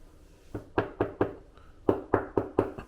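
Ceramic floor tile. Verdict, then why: Hollow. A series of knocks on large floor tiles in a hotel room gives about nine short, dull, hollow-sounding taps with almost no ring. The tiles are hollow and loose underneath, which could be a really big issue for the hotel.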